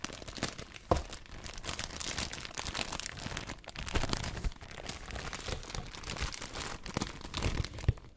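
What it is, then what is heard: Plastic bag of face masks, crinkled. A clear plastic bag of white disposable face masks is handled and crinkled up close with fingertips and long nails. The clip is a steady, dense crinkling and rustling with bright crackly texture and a soft low rumble of handling underneath. Sharper crunches stand out near the start, around the middle and at the end.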